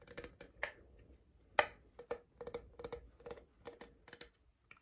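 Long painted nails tap and scratch a tall, clear, double-wall plastic Starbucks cold cup with a printed California design, a blue lid and straw, hollow and apparently empty. Quick, irregular, dry clicky taps with a hollow plastic tone around 600 Hz and bright edges, one much louder sharp tap near the start. Soft scratchy rustles fill the gaps before the lid is opened at the end.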